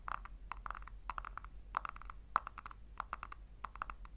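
Long nails tap and scratch the base of a small, hollow pink plastic tub turned upside down. The result is a rapid, irregular run of short, dry, hollow clicks centred around 1.3 kHz, with faint scratching between them over a steady low hum.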